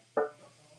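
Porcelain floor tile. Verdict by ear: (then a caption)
Fake. A satin/matte porcelain tile made to look like Carrara marble is held up and tapped once. It gives a short, bright tonal knock around 440 Hz that rings briefly. The ring gives it away as porcelain rather than real stone.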